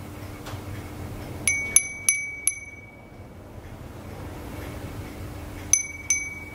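A small hollow glass wind chime (furin) with a painted flower design on a pink string is held up by hand and shaken. It gives six bright, high, glassy rings: four in quick succession, then a pause, then two more. Each ring decays quickly over a faint low background hum.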